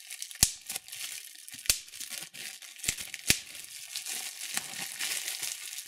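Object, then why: Plastic bubble wrap. Fingertips pinch clear plastic bubble wrap and pop the bubbles. Sharp, bright snaps stand out over steady, high-pitched crinkling and rustling of the plastic between them.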